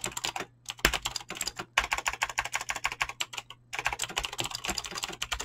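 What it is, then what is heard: Mechanical keyboard with plastic keycaps. Fingertips with short painted nails type fast on a full-size mechanical keyboard with Razer green clicky switches and pink-blue PBT plastic keycaps, resting on a desk. Rapid, bright, sharp clicks come in quick bursts with short pauses between runs, over a faint steady low hum.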